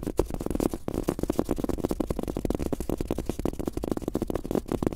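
Fingertips of both hands tap quickly on a large, thin, soft fabric-top rubber desk mouse pad with a world map print, lying flat. The result is a steady, dense patter of soft, muffled thuds with a low-mid hollow tone, each tap dying away almost instantly and carrying no bright edge.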